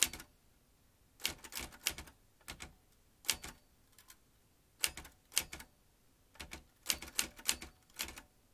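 An old manual metal typewriter with metal typebars and round keys is typed with the fingertips, so each key strikes the mechanism. About twenty sharp, bright clacks come in short bursts separated by quiet pauses, each dying away almost instantly with little low end.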